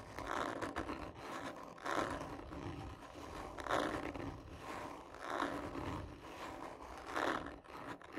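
Long nails slowly and hard scratch the surface of a textured, hollow cardboard tube lying on its side, using both hands. Rough, raspy scraping strokes swell and fade in slow, uneven waves, with a hollow midrange resonance from the tube.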